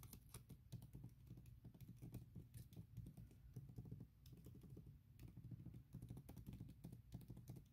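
Long nails tap rapidly on a thin printed silicone keyboard cover laid over MacBook keys. The result is a quiet, dense patter of soft, dull clicks, weighted toward the low end with very little brightness, and each tap dies away almost instantly. The tapping pauses briefly around the four- and five-second marks before continuing.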